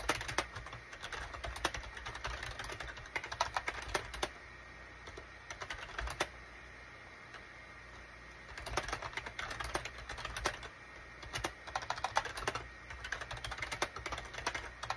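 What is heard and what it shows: Fingertips type on a full-size gray and cream SHIPADOO K600 wired USB plastic keyboard with a hollow plastic case, resting on a desk mat. Rapid bursts of short, bright, clacky key taps come in runs, broken by two quieter pauses of a second or two with only scattered keystrokes.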